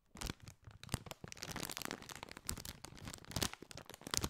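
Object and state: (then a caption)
Metallized plastic chip bag being crinkled. A partly filled Doritos chip bag of foil-lined, metallized plastic is squeezed and crinkled with the fingers. It makes a dense, continuous run of bright crackles and crinkles with sharper crunchy snaps scattered through, at a fairly quiet level.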